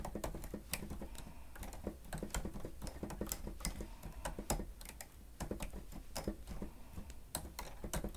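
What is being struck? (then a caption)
Plastic stenotype machine keys. Both hands press the keys of a grey plastic stenotype machine with a screen rapidly with fingertips and nails, typing. The result is a fast, uneven stream of short, dry clicks and taps, each with a soft low thud and a bright tick that dies away almost at once.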